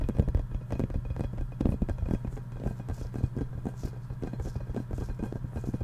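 A yellow, hollow, inflated rubber playground ball is held in both hands while fingertips and nails tap and scratch its surface. The result is a rapid, continuous run of dull, low, hollow thumps with very short decay, over a steady low hum and soft scratchy texture, with almost nothing bright.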